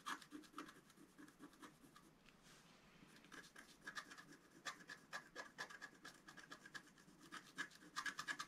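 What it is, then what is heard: Scratch-art paper being scraped. A wooden stylus scratches a white patch into the coating of a flat, wax-coated scratch-art paper sheet. It makes a quiet, rapid series of short, dry, scratchy strokes with a raspy edge around 1.7 kHz and a bright hiss. A softer lull comes near the middle before the scratching resumes more sharply.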